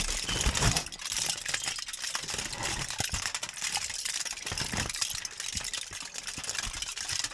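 A thin, crumpled sheet of aluminum foil is crinkled and squeezed by gloved hands beside and above the microphone. It makes a dense, continuous crackle of sharp, bright snaps with a few soft low thumps from handling near the start.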